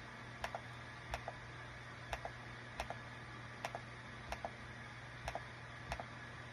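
Fingertips of both hands type on the small plastic keycaps of a light-green Dong Guan KPH-030 plastic travel wireless Bluetooth keyboard with a built-in touchpad, lying flat on a desk mat. Light, crisp key taps come in about eight quick double-click pairs, spaced roughly evenly. A steady low hum runs underneath.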